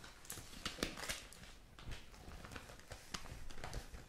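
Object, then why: Thin printed paper newspaper insert. A thin printed paper newspaper insert with a pink cover has its pages flipped and crinkled by hands with long nails. The result is soft, continuous rustling broken by brief, bright crackles and crisp paper snaps.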